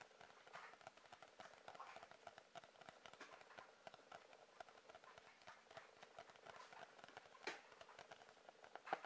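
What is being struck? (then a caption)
Sketchbook with cardboard cover. A sketchbook with a cardboard cover is tapped quickly with light, dry, irregular taps that sit in the mid range with almost no low end and die away almost instantly. The tapping stays quiet and steady, with a couple of sharper, louder taps near the end.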